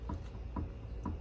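A front wheel of a 2010–2021 Honda CR-V is gripped at the 9 and 3 positions and shaken, producing three dull, low clunks with a faint higher knock on each. The wheel shows no play at 6 and 12, and the clunk points to a worn inner or outer steel tie rod.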